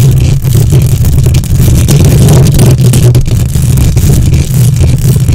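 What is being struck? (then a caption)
Metal mesh microphone grille. Long nails quickly scratch the hollow metal mesh grille of a silver condenser microphone with both hands. The result is a loud, continuous, dense low rumble with a steady hum near 133 Hz and only brief dips, plus faint scratchy texture above.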